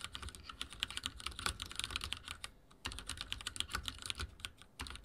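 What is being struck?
Mechanical keyboard with plastic keycaps.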